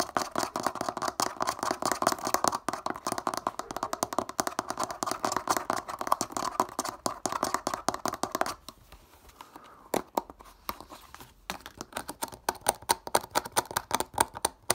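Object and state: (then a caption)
Plastic bottle cap. Fingertips and nails rapidly tap and scratch the black ribbed plastic screw cap of a clear plastic bottle that appears to hold water, held in the hand. Dense, crisp clicking and scraping with a bright midrange tone runs for about eight and a half seconds, drops to a brief quiet stretch, then resumes as sparser sharp taps.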